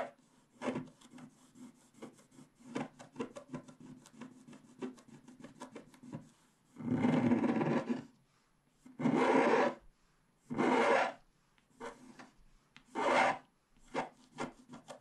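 A wooden stylus repeatedly scrapes the black wax coating over the colored base of a flat scratch-art card, working in the upper left sky area. Many quick, dry scratches fill the first six seconds, followed by four longer, louder rasping strokes between shorter flicks. The texture is raspy with a low-mid body and a bright hiss on the loudest strokes.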